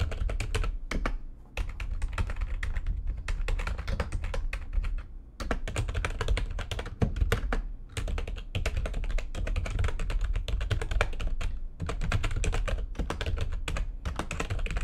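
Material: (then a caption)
Plastic. Fast typing with long nails and fingertips on a full-size plastic computer keyboard with white backlighting and a hollow housing. A dense, steady stream of short, dry clicks and taps, each with a low, hollow thump and almost no ring, with only a few brief pauses throughout.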